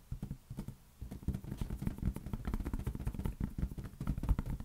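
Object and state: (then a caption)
Latex balloon tapped. A large, hollow, air-filled green latex balloon is held in one hand and tapped rapidly with the fingertips. The taps make a dense run of soft, dull, bassy thumps with almost no ring, broken by a brief lull near the one-second mark before continuing steadily.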